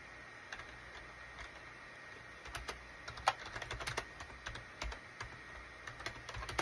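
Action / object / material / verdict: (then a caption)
tap / plastic computer keyboard / plastic / none. Fingertips type on a full-size gray and cream SHIPADOO K600 wired USB keyboard with a hollow plastic case, resting on a desk mat. Irregular, quiet, clicky plastic keystrokes with bright, short-lived snaps grow busier toward the middle and end over a faint steady hiss.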